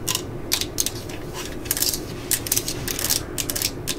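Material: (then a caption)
Plastic. Long glitter nails scratch and tap the yellow and black plastic housing of a hand-held cordless drill/driver and turn its ribbed clutch collar. The result is bursts of bright, crisp ratcheting clicks and short, dry taps over a low, steady background hum.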